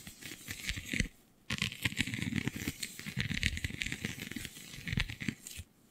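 Long glittery nails scratch and tap the raised scale-like bumps of a flexible, iridescent holographic vinyl sheet. The result is a dense run of crisp, crackly scratches and quick ticking taps, bright on top with a soft low rustle underneath. It pauses briefly just after the first second and fades out at the end.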